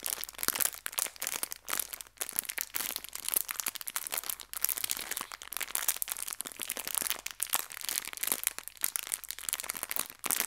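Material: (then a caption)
Plastic. A small clear plastic bag full of colorful hair ties is crinkled by pinching and rubbing the plastic with fingertips and long red nails. Dense, bright crinkles and sharp crackles run continuously with almost no low end, each snap dying away instantly.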